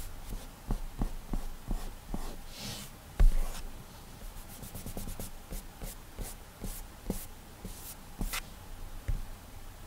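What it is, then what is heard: Glass tablet touchscreen. A fingertip strokes and lightly taps the flat glass touchscreen of an iPad tablet while painting hair. Soft, dull taps stand out over a low, quiet rumble, with faint bright swishes from the strokes across the glass. One tap near the middle lands louder than the rest.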